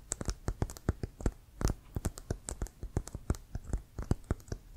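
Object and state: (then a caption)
Composite leather American football. Fingertips and nails tap quickly and irregularly on a full-size, inflated, hollow brown composite leather Wilson American football with laces, held in front. Each tap is a short, dull, low thud with faint bright clicks from the nails, stopping at once with no ring.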